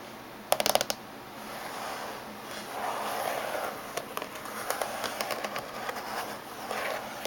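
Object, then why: Laptop lid casing. Fingernails of both hands tap on the top surface of a closed silver laptop with a hollow body. A quick cluster of sharp, dry clicks opens the clip, followed by a soft rubbing swell and then scattered light taps, each dying away almost instantly.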